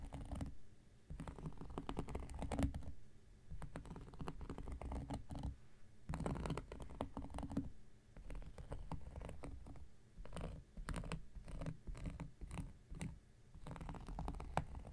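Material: Cork.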